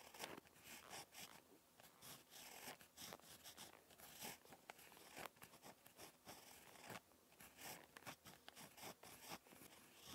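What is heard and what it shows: A ballpoint pen tip scratches across lined notebook paper while handwriting. Quiet, bright, crisp scratching comes in short bursts and strokes with brief pauses between them.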